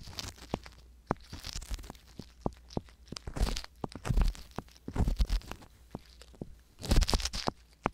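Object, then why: Silicone ear microphone scraped with a wooden ear pick. A wooden ear pick scrapes inside the canals of silicone ear microphones while long-nailed fingertips hold the outer silicone ears. Close, crunchy scraping and crinkling bursts mix with many sharp, clicky taps over a low rumble. The texture swells into dense, bright scratching passages around the middle and near the end.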